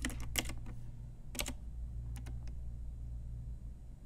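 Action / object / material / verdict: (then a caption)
tap / plastic mechanical keyboard / plastic / none. Long nails and fingertips type on a pink Ajazz typewriter-style retro mechanical keyboard with round plastic keycaps. Quick clusters of sharp, bright plastic clicks fall in uneven bursts, then trail off into sparser taps, over a steady low hum.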